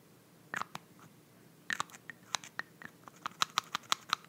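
Long nails tap and twist the white plastic cap of a small glass nail polish bottle full of beige polish. The result is a quiet series of sharp, bright clicks and taps with brief scratchy scrapes between them, growing steadier and more regular toward the end.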